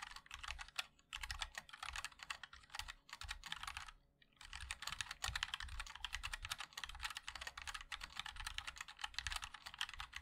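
Fingertips of both hands type continuously on a compact 60% MOD-L mechanical keyboard with a black case, white and black plastic keycaps and linear switches. Dense, bright, clacky keystrokes die out almost instantly, with a soft low thump under each press. Brief pauses break the typing near the first and fourth seconds.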